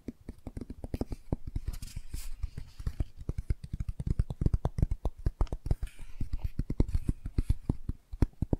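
Long nails tap quickly on the laminated cardboard front cover of a closed hardcover children's board book. The result is a rapid, dense stream of short, dull, low-heavy clicks and taps that fall silent almost instantly, with a faint bright edge on some strikes.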